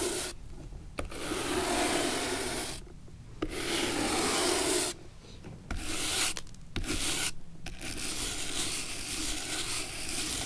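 An old antique leather shoe is held on its side with its worn leather sole facing up while a wooden-handled natural bristle brush scrubs the sole back and forth. The result is a dry, bright, scratchy rubbing heard in long strokes separated by brief pauses.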